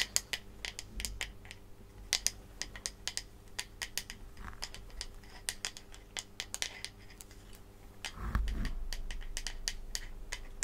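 Long manicured nails tap and scratch close up on the back of a striped bamboo wooden hairbrush, a flat, solid, handheld piece. Many short, bright, dry clicks with almost no ring ride over a low steady hum, and a softer rubbing scratch swells in near the end.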